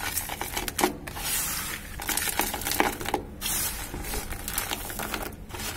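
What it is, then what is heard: Dry cement powder and lumps. Hands dig into dry cement powder, scoop gritty granules and crumble a cement lump with their fingers. There's a steady, bright, gritty crackling and rustling with sharp little grainy clicks and short crumbly bursts, broken by brief quiet gaps.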